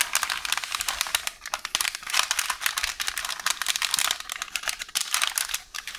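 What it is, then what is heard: Roll of baking paper. Fingertips and long orange nails squeeze, scratch and crinkle a hollow roll of beige baking paper resting on a counter. The result is a dense, continuous stream of crisp, bright crinkling and rustling with rapid scratchy bursts and almost no low end.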